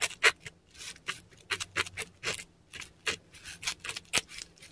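A metal dip pen nib scratches across a flat, textured Korean paper sheet while writing characters in ink. The sound is a quick series of short, bright, dry scratching strokes with brief pauses between them. There is almost no low end, and each stroke stops cleanly.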